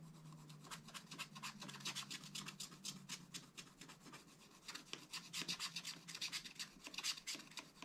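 A pointed wooden stylus scratches the black coating off a scratch art page in a small spiral pad lying flat on a table, while one hand holds the page steady. Quick, irregular strokes make a dry, bright rasping scratch over a faint low hum. The strokes grow louder and denser in the second half.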